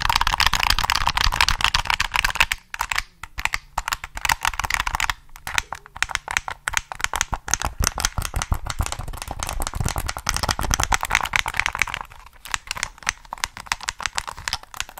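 Fingertips rapidly tap the triggers and shell of a hollow black plastic PS3 controller held in both hands. The result is a dense stream of short, dry, bright plastic clicks with almost no ring. The tapping briefly thins out around the third second and again near the twelfth.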